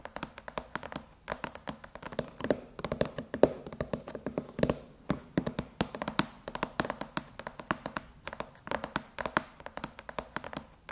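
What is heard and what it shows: Long, polished chrome nails tap rapidly across the closed silver aluminum MacBook lid with its white Apple logo, over the hollow laptop shell. The result is a dense, uneven stream of dry, quick clicks and light thunks, each with a short metallic ping near 600 Hz that dies away almost at once.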